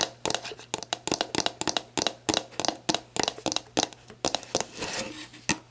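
Long black nails tap and scratch the label of a clear plastic sports drink bottle lying on its side, hollow and mostly empty. Quick, sharp, bright clicking taps come in uneven bursts while the label crinkles, with a longer scratchy rasp near the end. A faint low hum runs underneath.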